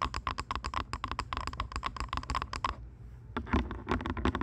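Long nails tap rapidly on the headband and earcups of purple plastic over-ear headphones placed over a pair of microphone ears, making about two dozen quick, hollow clicks with a faint tone near 1 kHz. The tapping runs steadily for nearly three seconds, stops briefly, then resumes with slightly heavier, duller knocks.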